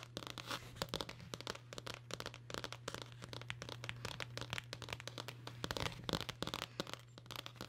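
Long nails scratch and tap the dark blue cloth cover and edge of a hardcover book held close to the mic. Rapid, dry scratching and crisp tapping run continuously over a steady low hum, each tap short with almost no ring.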